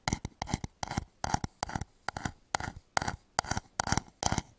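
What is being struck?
Turned wooden bowl.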